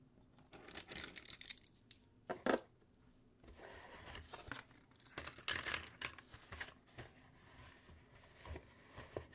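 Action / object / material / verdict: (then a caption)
scrape / cardboard box / cardboard / none. A medium rectangular white cardboard box, hollow and closed and resting on a wooden table, is tapped and scratched with fingertips and nails across its lid and sides. Quiet bursts of dry, papery scratching alternate with short, dull taps that die away almost at once, leaving faint pauses between the clusters.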